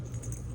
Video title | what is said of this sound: Lovevery Play Kit 5-6 Months. 2020 Unboxing+Review - The Senser | the bell sounds way louder